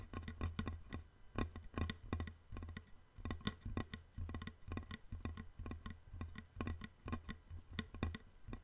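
A long, thin, flat, light-colored solid wooden board, held diagonally, is tapped with fingertips and nails near one end. The result is a quick, uneven patter of short, dry taps with a low hollow thump and brief, bright clicks that die away almost at once.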